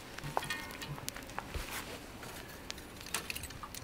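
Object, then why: Burnt coconut shell coals. Hot, burnt coconut-shell coals are placed into a coconut shell to smoke fish. The pieces give off light, glassy clinks and brittle ticks over a low background rumble, and the shell is burning really hot.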